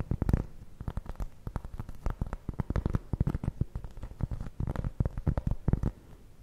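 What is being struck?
Round cork trivet.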